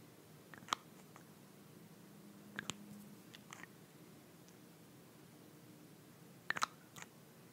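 Long nails tap and twist the white plastic cap of a small glass nail polish bottle full of beige polish. Quiet, sharp, bright clicks come in small clusters separated by near-silent pauses, over a faint low hum.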